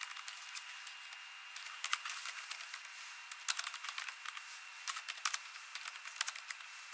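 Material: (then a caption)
Plastic. Long nails and fingertips type rapid taps on the plastic keys of an ASUS laptop keyboard. Bursts of short, crisp, bright clicks with no low end come in uneven flurries with brief pauses between them. A faint steady tone hums underneath throughout.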